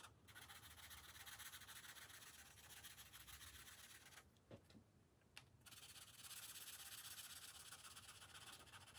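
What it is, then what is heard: Felt-tip marker coloring on a paper page. A green felt-tip marker is rubbed back and forth over a thin paper page of an open coloring book resting on a glass table to fill in colour. The strokes make a quick, steady, bright scratchy rubbing. Around the middle it pauses briefly with a couple of light taps before the rubbing resumes.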